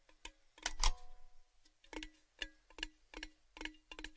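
Fingertips tap the outer wall of a tall, hollow, empty orange-red metal Baileys gift tin held up with its open end down. About ten clicky, resonant taps each leave a short metallic ring with tones near 300 Hz and 870 Hz and a bright top. A quick double tap near the start is the loudest.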